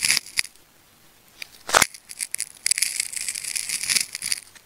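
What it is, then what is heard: Plastic tape ball being cut. A metal craft knife slices into a hand-sized ball of wound red, yellow and black plastic tape, already partly cut open into layered ridges, peeling back the layers while fingertips hold the ball. Sharp, bright cutting ticks and a louder crisp slice give way to a steady, high scratching and peeling rasp with almost no low end.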